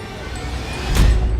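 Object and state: Nothing is struck.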